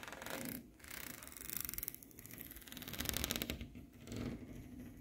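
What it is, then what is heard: Corrugated aluminium panel. Fingertips and nails rub and scratch across the curved ridges at the corner of a thin, ribbed aluminium wall panel. The result is a bright, raspy, metallic scraping in rapid ridged pulses, coming in several bursts separated by short quieter gaps.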